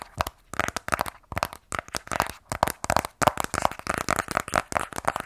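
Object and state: Cardboard box tapped and scratched.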